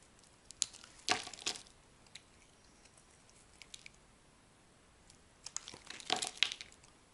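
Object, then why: Bar of soap scraped with a metal blade. A solid purple bar of soap held in the hand is scraped and carved with a metal utility blade, shaving off dry, crumbling flakes. Bright, crisp scraping and crunching bursts come in two clusters, with faint dry ticks in the quieter stretch between them.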